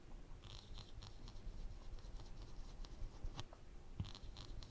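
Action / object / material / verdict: scrape / thin plywood panel under a hot wire pen tip / plywood / none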